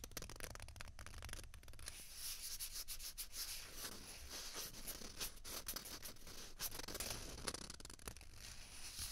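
Long fingernails rub and scratch two small hollow white plastic ping pong balls, one held in each hand. The result is a steady, quiet, bright scratching and rubbing texture with brief sharp clicks, over a faint low rumble.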